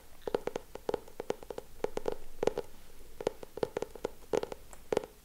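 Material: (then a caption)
Cardboard. Fingertips and nails tap and scratch the cardboard cover of a solid purple hardcover notebook with a Friends frame design. A quick, uneven run of short, dry taps with a hollow mid-pitched knock around 445 Hz stands out over faint scratching. Each tap dies away almost instantly.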